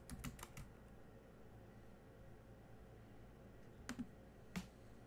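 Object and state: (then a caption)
Plastic laptop keyboard. Fingertips of one hand tap the black plastic keys of a silver laptop keyboard. Seven short, dry clicks stand out: a quick cluster of four at the start, then a long pause over a low steady hum before a pair of taps and one final, louder click near the end.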